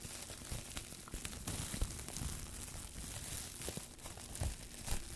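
A loose, crumpled sheet of thin clear plastic cling wrap is held in both hands close to the microphones while fingertips crinkle, scrunch and pull it apart. The result is a dense, continuous crackle with bright hiss on top, a low rumble of handling underneath, and several sharper crunchy pops along the way.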